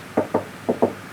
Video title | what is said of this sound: 250 PRADO AUSTRALIA GOT THE WORST INTERIOR | that's definitely steel.